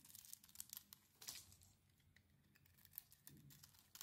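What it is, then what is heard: Dry bar soap being carved. A solid, rectangular, hand-sized, dry white "Nature" soap bar is held in one hand and carved with a thin metal blade, shaving off crumbly flakes. The blade makes a quick series of short, crisp scraping and crackling bursts, mostly bright and high with little low end. The cuts come in uneven clusters separated by quieter stretches.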